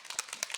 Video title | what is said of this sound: This will make your HAIR look FLAWLESS... - Beauty Essentials - Beauty MUST HAVES 2025 | You can hear there's something inside that helps get all that product really shaken up.